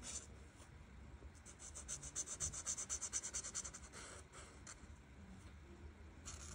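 A felt marker tip rubs repeatedly in short strokes across a flat paper coloring page, filling in dark teal leaves. The quiet, bright, scratchy swishes come in a quick, fairly steady rhythm, growing louder and more distinct through the middle of the clip before softening again.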